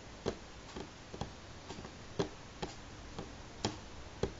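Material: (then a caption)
Wood. Natural fingernails of both hands tap slowly and sparsely on a solid, light pine-grain wooden tabletop. Each sharp, dry click sits around 395 Hz with a bright edge, dies away almost instantly, and is separated by quiet gaps.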